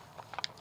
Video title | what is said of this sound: A Quick Paint Tip - How To Play Paintball | this is the only time that you want to hear a pod shake around like that